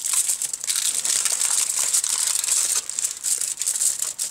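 Bare fingertips and palms press, rub and crinkle aluminium foil wrapped around a flat, book-sized rectangular package resting on a wooden table. The result is a dense, continuous, bright crinkling with sharp crackles and almost no low end, swelling and dipping briefly as the hands shift.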